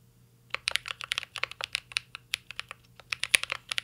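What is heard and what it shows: A mint-green Cyberboard R3 mechanical keyboard with a metal case and plastic keycaps is typed on continuously with fingertips. After a brief silence, about 22 quick, bright plastic taps follow in a steady, uneven rhythm, each clacking sharply and dying away almost at once.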